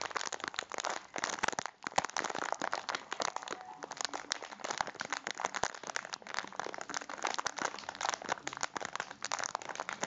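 A rectangular packet of biscuits in crinkly plastic wrap is held in both hands while the fingertips squeeze and rub the wrapper. The result is a continuous bright crinkling of plastic, broken by many sharp little crunches of the biscuits inside, with almost no low end.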